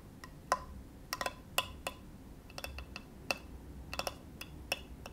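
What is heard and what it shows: Fingertips tap the surface and near the edge of a flat, solid, rectangular bamboo cutting board held on a lap. The result is a series of short, dry, woody clicks in an irregular rhythm, each with a bright click and a brief tone around 1 kHz that dies away almost instantly over a low, soft background hiss.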